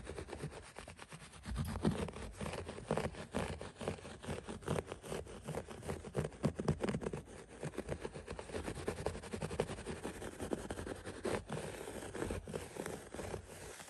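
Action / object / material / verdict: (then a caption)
scrape / synthetic shag carpet / synthetic fibre / none. Fingertips scratch the pile of a thick synthetic shag carpet, producing a dense run of short, soft, muffled scrapes. The rustling is low and dull with little brightness, rising and falling steadily for about fourteen seconds.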